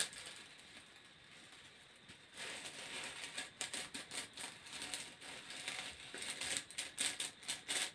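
Fingertips and nails scratch and run along the ridges of a long, grey, hollow corrugated plastic hose held in both hands. After about two seconds of faint hiss, bright, dry rasping starts, breaking into quick, irregular ticking bursts that grow louder and sharper toward the end.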